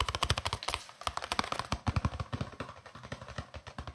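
A long, hollow green plastic case is held upright and tapped quickly with fingertips and nails, giving a rapid run of short, crisp clicks that sounds like typing on a keyboard. The taps overlap in a fast, uneven rhythm with a hollow knock underneath and a bright click on top.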